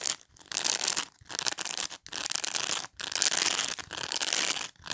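Long nails scratch and rake over the dense plastic pin bristles of a black rectangular pet brush. The result is a series of bright, crackly, hissy raking strokes, each lasting under a second and separated by brief near-silent pauses, with almost no low end.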